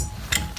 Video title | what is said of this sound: Summerhouse Tour March 2020 | it's empty. You can hear by the tapping sounds there.